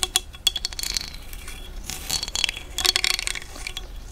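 A thin dark stick is scratched across the ridged teeth at the opening of a large, hollow cowrie seashell. It makes bright, glassy clicks and ticks with a faint ringing tone around 3.4 kHz. Sharp taps at the start give way to longer rasping scrapes, with almost no low end and very quick decay.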